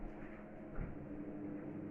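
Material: Nothing is struck.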